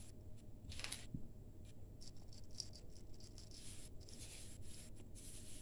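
Bare hands squeeze, crumble and rub a crumbly grey damp sand-cement mix in a large steel bowl. The sound is quiet, with soft, bright gritty rasps and crackles over a low, steady rumble.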